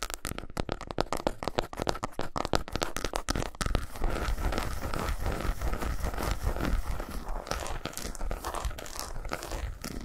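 Fingernails tap quickly and scratch across the squares and grooves of a solid milk chocolate bar lying on a towel. For the first four seconds, sharp, dry taps come in rapid bursts. Then a denser, crinkly scratching texture runs steadily to the end over a low rumble.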